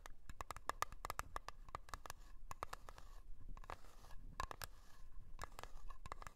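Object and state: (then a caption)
Metal cream tin. Long nails tap and scratch the lid of a small round blue metal Nivea cream tin standing on its edge. Rapid, quiet clicking taps, each with a brief metallic ring near 1.2 kHz, are interspersed with soft scratching strokes across the lid.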